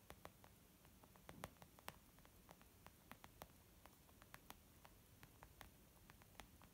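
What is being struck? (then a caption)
Leather zip pouch. Slow tapping with long nails and fingertips of both hands on a white textured leather zip pouch makeup bag resting on a wooden table. About two dozen soft, short, dry clicks and taps, some brighter where the nails strike, sound over a faint steady hiss. Each tap dies away almost instantly.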